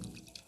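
A whole coconut with its husk fibers still on is shaken, and the water inside sloshes with short, soft liquid knocks. This is the expected sound of a coconut that still holds water.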